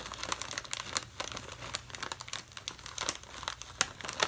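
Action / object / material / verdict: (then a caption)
scrape / plastic foil snack bag / plastic foil / none. A pen tip is traced over a medium green printed plastic/foil snack bag, full of mixed nuts and snack mix and held in one hand. It makes a steady run of bright, dry crinkles and sharp crackles at an irregular pace, with almost no low end and no ring after each sound.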